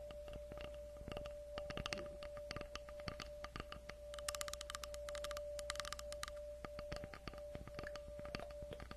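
Long acrylic nails tap and scratch across the cut face of a solid round tree log slice with a bark rim, about 20 cm across, held in both hands. Many quick, dry, bright clicks fall in an irregular rhythm, with denser scratchy bursts in the middle, over a quiet, steady tone near 590 Hz and a low hum.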